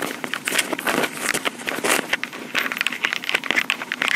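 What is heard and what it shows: Long pink acrylic nails tap and scratch around the top of a small black plastic Tascam portable recorder with metal grilles. A dense run of quick, dry clicks and scratchy crackles follows, with bright, hissy highs centered around 2 kHz and almost no low end. Each tap dies away instantly.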